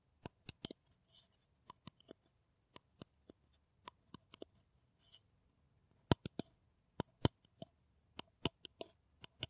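Long nails tap an empty, hollow brown paper coffee cup held in one hand. Sharp, dry clicks land at an uneven pace, each one a brief, bright snap with almost no ring. A few softer scratchy rustles sit between the taps.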